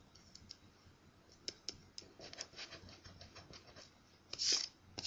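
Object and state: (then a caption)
Scratch-off lottery ticket being scratched. A thin, flat paper scratch-off lottery ticket with a crossword grid is held down with one hand while a coin is rubbed across its scratch coating with the other. Quiet, bright, irregular scratches and sharp little clicks are heard, with a louder, longer rasping scrape near the end.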